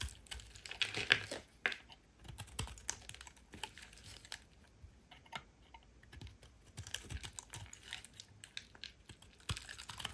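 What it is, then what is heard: Bar of soap being carved. A metal utility blade carves and scrapes pieces off the faceted edges of a solid rectangular yellow soap bar held in hand, with a pile of shavings nearby. A quiet, steady run of short, crisp, bright scraping and clicking cuts is heard, each ending almost instantly, with a few sharper cuts standing out.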